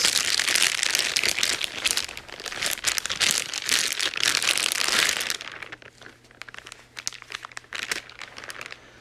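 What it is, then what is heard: Clear plastic bag. A thin, clear plastic wrapping bag around a grey cable is held in white-gloved hands while the fingers crumple and rub the film. Dense, bright crinkling fills the first five seconds, then thins into quieter, scattered crackles and rustles.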